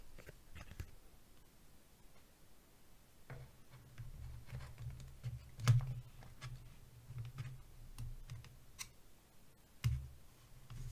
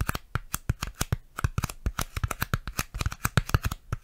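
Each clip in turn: First: plastic box tapped with fingers. Second: styrofoam tapping.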